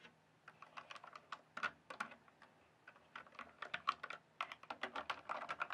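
Fingertips type and tap on a full-size, RGB-backlit plastic mechanical computer keyboard with hollow keys on a solid base. Quick, dry, clacky keystrokes come in irregular bursts, with a short lull near the middle, then a faster, denser run at the end. Each click is sharp with no ring, centred in the midrange with a bright edge and almost no low end.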